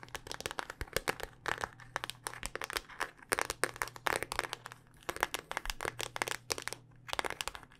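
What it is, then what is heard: Smartphone in a rugged plastic case. Long dark-painted nails tap rapidly and continuously on a handheld smartphone in a solid, black rugged hard-plastic case. The result is dense, dry, bright clicks with very short decay, varying in loudness, over a faint steady low hum.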